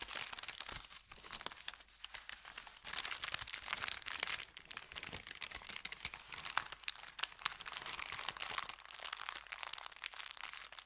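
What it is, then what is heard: Paper bag being crinkled. An empty, thin brown kraft paper bakery bag is folded, pressed flat on felt and rubbed with the fingertips. It makes a dense, continuous crackling and crinkling, bright and papery, with no low end and no ring. The rustle rises and falls in quick bursts.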